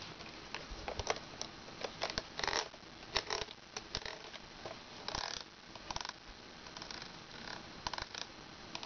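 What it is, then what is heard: Plastic toy wand. Long red nails scratch along the ridged section of a long plastic toy wand with a ridged translucent handle and a clear dome. The result is a quiet run of bright, dry scratching bursts and quick ticking clicks, with a faint steady hiss between them.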